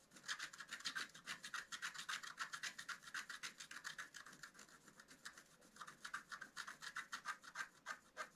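A wooden stylus scratches the coating of a flat black-coated scratch-art card in quick, uneven back-and-forth strokes. Each dry, raspy scrape is bright and brief, centred around 1.5 kHz with a thin high hiss. The strokes ease off and grow quieter midway before picking up again.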